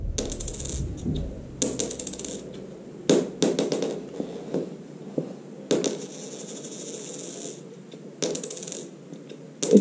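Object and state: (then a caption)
Genuine 2 euro coin. A genuine bimetallic 2 euro coin is thrown onto the ground several times, each drop giving a bright metallic clink. The coin bounces and rattles with a clear ringing vibration before it settles.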